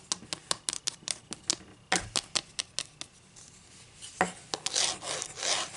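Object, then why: Wooden ruler. Long green acrylic nails scratch and rub the surface and edge of a solid, flat wooden ruler held in the air, making a quick run of sharp, bright, dry scratches for about three seconds. After a brief quieter pause, a few more crisp strokes lead into softer, breathy rubbing as the ruler is turned over at the end.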